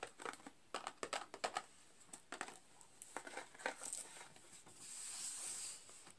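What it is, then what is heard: Cardboard candy cane box with plastic window. Fingertips and nails tap and scratch the clear plastic window and edges of a full, rectangular cardboard box of candy canes lying flat on a green cloth. Quick, bright crinkly taps come in irregular bursts, then give way to a longer, steady high scratching hiss before a few last light taps.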